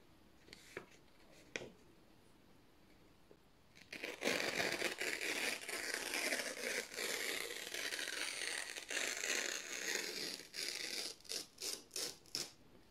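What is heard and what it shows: Fingertips slowly tear a long strip from thin white printed office paper sheets. A few faint ticks give way to a sustained, bright, crackling rip, which breaks into short separate tearing bursts near the end.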